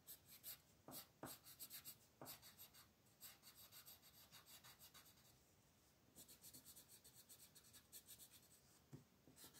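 A blue wooden colored pencil rubs back and forth across a thin white paper mandala sheet lying flat on a table in coloring strokes. The quiet, bright, scratchy strokes come in quick rhythmic bursts with a soft papery hiss between them, easing into lighter, steadier shading midway before the brisker strokes return.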